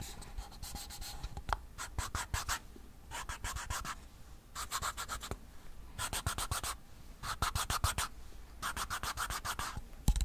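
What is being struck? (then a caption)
Waxed paperboard ice cream cup. Fingernails scratch and rub the sides and white bottom of a small, hollow Blue Bell ice cream cup made of waxed paperboard. Quick, dry scratching strokes come in repeated bursts, with a bright papery rasp over a low, soft background rumble.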